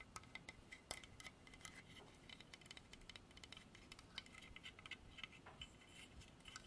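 A solid, dark polished hardwood carved horse statue on a base is tapped and scratched with long dark artificial nails. Quiet, rapid clicks and dry scratching sit over a soft low background, and each bright tick dies away almost instantly.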